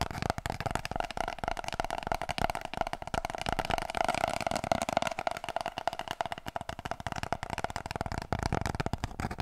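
Long nails rapidly tap and scratch an empty, hollow cardboard kitchen roll tube held upright. The result is a dense stream of quick, dry clicks and scrapes with a steady hollow resonance around 690 Hz.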